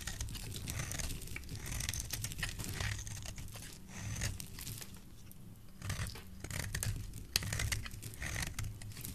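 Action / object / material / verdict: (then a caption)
scrape / soap bar / soap / none. A solid oval green soap bar is carved into thin strips with a utility knife blade. Dense, crisp scraping and crinkly shaving sounds come in bursts of bright texture over a steady low hum. The shaving swells and fades throughout, with one sharper click near the end.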